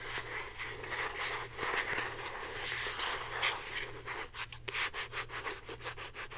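A hand-sized, hollow blue plastic Secret deodorant stick is held up and rapidly rubbed and scratched with long painted nails. A dense, bright, hissy scratching fills the first four seconds, then breaks into quick rhythmic strokes over a faint low steady hum.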